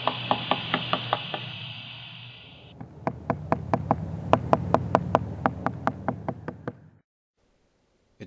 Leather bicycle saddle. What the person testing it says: you'll hear the tapping in each clip go from tinny, or hard, to more thud-like as the leather softened